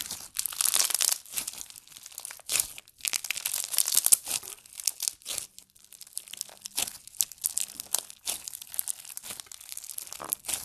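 Fingertips stretch and press a green slime filled with pearls and blue beads, producing dense, bright crinkling and crackling pops. Quick clicking bursts come in irregular clusters with short quiet gaps, with almost no low end.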